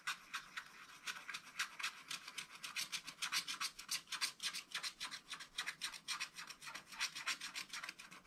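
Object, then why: Wax-coated scratch-art paper scratched with a wooden stylus. A wooden stylus scratches the lower area of a wax-coated scratch-art paper page, held flat by one hand, with fast, dense strokes. About 48 short, bright, raspy scratches come in a quick, uneven rhythm, with almost no low end and no ring between strokes.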